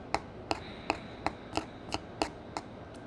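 A metal spatula crushes a maroon pressed powder eyeshadow square in a black palette into flakes. Eight sharp, evenly spaced scraping taps ring out, each a brief, bright crumble centered around 800 Hz that dies away almost instantly over a faint background hiss.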